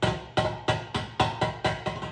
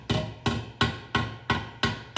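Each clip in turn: First: sheet steel not seated flat on the anvil (tinny ring). Second: sheet steel seated flush on an anvil.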